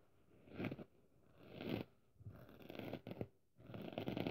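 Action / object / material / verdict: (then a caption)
scrape / foam kitchen sponge with abrasive scouring layer / foam / none. Long nails scratch the rough red scouring side of a hand-sized, dry pink foam kitchen sponge held in the hand; the sponge is solid and porous. It makes soft, dry, crunchy rasping in several bursts separated by brief pauses. The scratching is quiet and grainy, with most of its energy low and some faint bright edge.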